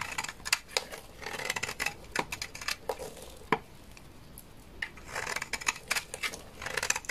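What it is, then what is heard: Bar of laundry soap scraped with a knife. A solid bar of white laundry soap, held in the hand, is scraped with a utility knife blade into powdery flakes. The clip is a run of crisp, bright scraping strokes with short dry crackles, spread in bursts with a quieter stretch in the middle.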